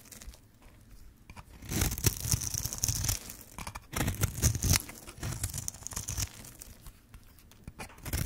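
A metal blade scrapes and carves into the edge of a hand-held, hand-sized, pink and white striped bar of dry soap, sending shavings falling. Dry, crunchy tearing scrapes come in several bursts of rapid crackle, with a bright hiss above a low rough rumble. Quieter gaps fall between the strokes.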